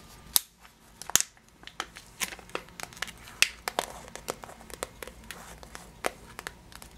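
Long nails scratch and tap a clear plastic bag of yellow sugared almonds on its label side. About fifteen sharp, bright crinkling taps and clicks come at an uneven pace, with soft scratching between them over a quiet background.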